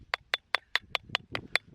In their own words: Hear it? It's getting hollow sounding. That means the rock's breaking.